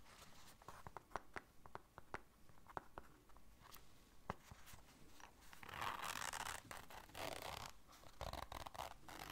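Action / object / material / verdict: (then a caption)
scrape / small fabric-covered zippered case / fabric / none. Long nails scratch and tick across a small, round, hollow black zippered case that appears fabric-covered, catching on both the case and its zipper. Sharp, quiet clicks and light scrapes come first, then it builds into denser, brighter rasping bursts of scratching along the zipper toward the end.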